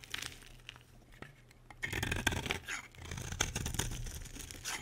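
A utility knife blade shaves a solid green bar of soap, peeling off thin curls. After a quiet start with a few faint scrapes, dense crisp crunching and scraping begins near two seconds and continues to the end, with a low hum beneath it.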